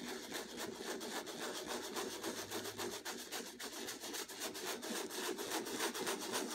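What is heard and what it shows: Folded sandpaper held in the fingers is rubbed in short strokes across a stretched canvas with a textured turquoise and white acrylic surface, while the other hand holds the canvas flat. A steady, rhythmic scratchy rasping repeats at about three to four strokes per second, with a bright, hissy texture and little low end.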